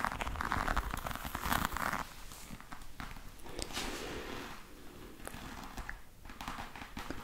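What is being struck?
Embossed faux leather hard case.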